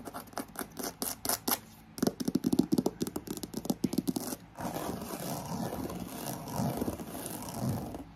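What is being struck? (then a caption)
Croc-embossed faux leather handbag. Long acrylic nails scratch and tap fast across a black croc-embossed faux leather handbag, first along its side and then over the flat front face. Crisp, rapid ticks and scrapes come in bursts for about four seconds, then give way to a denser, continuous scratching over a steady fan hum.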